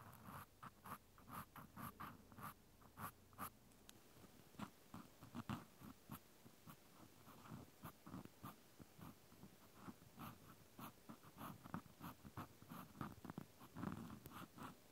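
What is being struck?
Plastic clothespin with metal spring.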